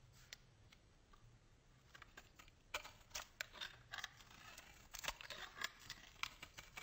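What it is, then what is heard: Bar soap. A solid white bar of soap held in hand is scraped and shaved with a metal box-cutter blade into fine curls. Quiet, bright, crisp scratching comes in short dry bursts, faint at first and then denser and sharper in the second half.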